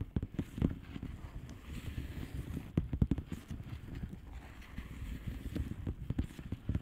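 Long painted nails of both hands tap and scratch the bubbles of a blue plastic bubble wrap mailer lying flat. The result is a quiet, steady run of soft, dull taps with a faint scratchy rustle between them, heavy in the low end with no bright edge.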